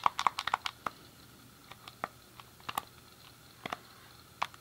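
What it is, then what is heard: Plastic game controller buttons. A thumb clicks the D-pad and fingertips press the face buttons on a hand-sized, hollow, grey plastic SNES game controller, making about 17 short, dry plastic clicks. The clicks come in a quick cluster at first, then spread out more sparsely with quiet gaps between them. They have a mid-range, slightly bright tone and stop almost instantly with no ring.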